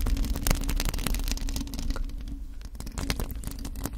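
Long acrylic nails on both hands scratch across the bare black metal mesh grille of a USB condenser microphone with a hollow head. The result is a dense, irregular stream of scratchy rasps over a heavy, booming low rumble, with bright crackling bursts that flare and fade throughout.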